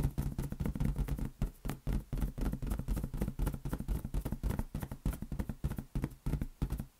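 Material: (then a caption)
Latex. A large, hollow, inflated green latex balloon is cradled in both hands and tapped rapidly with the fingertips. The result is a continuous patter of soft, low, drum-like thumps centered around 137 Hz, each dying away almost at once.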